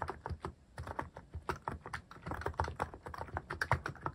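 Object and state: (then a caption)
Mechanical keyboard typing. Fingertips type steadily on a mechanical keyboard fitted with plastic cat-shaped keycaps. A quick, even run of short clacks, each with a low, rounded thump and little bright edge, dies away almost at once.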